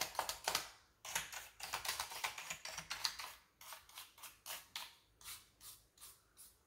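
A wooden-handled bristle brush brushes and pokes the keys of a full-size black plastic computer keyboard with a hollow body. Dense, bright scratchy bristle strokes and clicks come first, then ease into a slower series of short, separate brushing swishes, each dying away quickly with almost no low end.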